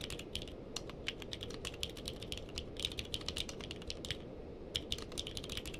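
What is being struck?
Mechanical keyboard with plastic keycaps.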